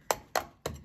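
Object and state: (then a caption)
Hollow plaster wall corner. Three short knocks on a plastered wall corner give a dull, hollow sound with almost no ring, suggesting the plaster is hollow behind it.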